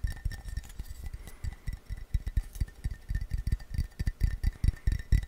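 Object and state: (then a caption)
Ceramic coffee mug. An empty, hollow blue glazed ceramic mug held in the hand is tapped rapidly with fingertips and nails. The result is a quick, uneven run of dull low knocks with light clinks, over a faint steady ring near 2 kHz.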